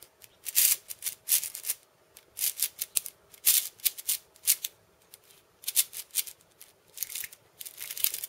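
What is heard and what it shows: A cabasa with wooden end discs and steel ball chains is held and turned in the hand while fingers rub and scratch the beads. Short bursts of bright, dry metallic rattling come in clusters with brief quiet gaps, and there is no low end.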